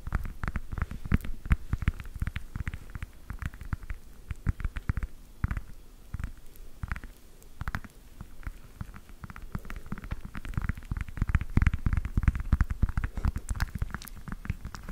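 Long acrylic nails tap and scratch the peel of a solid, whole fresh orange held in the hand. Rapid, dense clusters of short, dull taps come through as low, soft thuds with brief scratchy rustles between them, pausing a little around the middle before picking up again.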